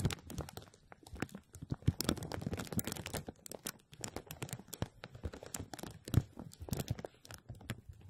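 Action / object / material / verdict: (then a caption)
scrape / plastic bag stretched over a metal mesh strainer / plastic film / none. A clear plastic bag is stretched over a hollow metal wire-mesh strainer dome while both hands hold and squeeze it and fingertips rub the film. The result is dense, close crinkling and crackling with sharp, short snaps that flash up into the high range. Busy bursts alternate with brief quieter pauses.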